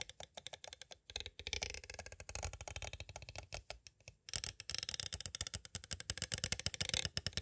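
A clear, hard plastic cassette case with a paper insert and a cassette inside stands upright and is tapped and traced with two thin, green-handled pointed tools. Rapid, dry, bright clicks and ticks come in dense bursts with a little hollow low knock beneath, each tap dying away almost at once. A brief pause in the middle is followed by a busier, brighter stretch of tapping.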